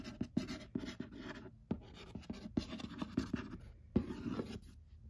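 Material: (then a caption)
Cardboard. Fingertips and long nails tap and scratch the lid of a flat printed cardboard 'Murder Mystery' party game box lying on a lap. Short, dull, quiet taps with little ring alternate with soft, raspy scratching strokes across the cardboard.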